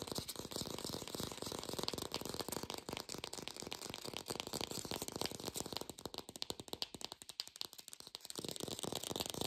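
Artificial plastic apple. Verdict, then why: Fake. An artificial plastic green apple is fast-tapped without a microphone, giving a dense, rapid rattle of short, dry, bright clicks. The clicks are too packed together to count, with a thin, lo-fi quality and a steady high hiss underneath.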